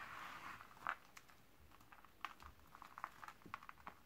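Bare hands and fingertips crush, squeeze and rub a pile of thin, dry purple Camay Magique soap shavings on a white table. A soft, hushed rustle opens the clip, followed by quiet, scattered crisp crackles and crunches with a bright edge, each dying away almost at once.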